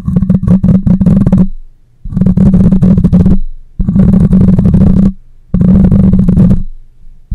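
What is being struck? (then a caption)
Metal mesh microphone grille. A black microphone's metal mesh grille is scratched with long nails and rubbed with the fingers. Four bursts of loud, low, booming scraping and crackling are heard, with a steady hum around 176 Hz and brief quiet gaps between them.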